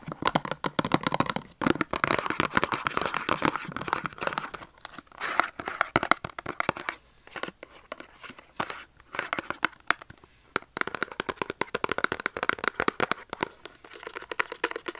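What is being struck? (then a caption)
Cardboard soap box with a bar inside. A small printed cardboard Dove soap box, hollow with the soap bar inside, is held in both hands and tapped and scratched with short fingernails and fingertips. Rapid, crisp taps and papery scratching come in dense bursts with brief quiet pauses. The sound sits mostly in the mids, with very little low end.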